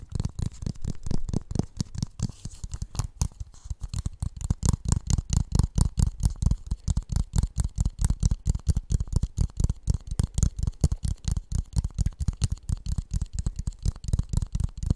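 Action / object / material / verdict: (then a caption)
tap / plastic funnel / plastic / none. Fingertips tap and rub the outer surface of a hollow, empty blue plastic funnel whose wide mouth is held over the microphone. The result is a rapid, uneven stream of short, deep, hollow thumps, with faint brushing texture between them.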